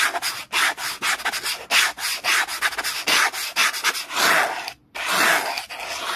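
A small orange brush held in the fingers rubs fast and hard over a black plastic "clear holder" document folder lying flat on a towel. The result is a rapid run of dry, hissy, bright scratching strokes with no low end. The strokes come in quick bursts with a brief pause near the end.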